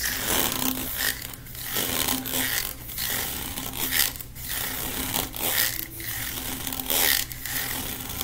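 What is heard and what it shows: A long, hollow, blue corrugated plastic pop tube is held in both hands while fingertips and nails run and scratch along its ribbed ridges. The result is a bright, raspy, zipper-like scraping that comes in irregular strokes, each swelling and fading over the clip with a faint low hum underneath.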